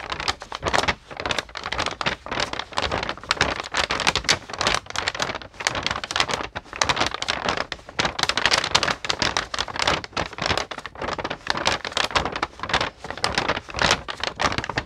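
A pink-painted white paper sheet held in both hands is flexed and crinkled while long nails rub across it. Dense, bright crackling and crinkling bursts come in rapid succession for the whole clip, with little low end and no pauses.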